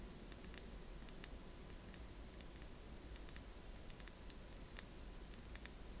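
Long manicured nails tap and click on a small capped amber glass bottle with a paper label, held in both hands. Quiet, sharp, bright clicks come scattered and irregularly over a steady low rumble, each one dying away quickly.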